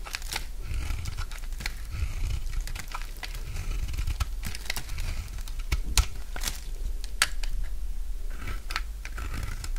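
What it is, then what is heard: Dry bar soap being cut. A solid, dry, light green bar of soap held in the hand is shaved with a utility knife blade. It gives a run of crisp scraping and crunchy cutting sounds with bright, sharp clicks over a low, steady rumble.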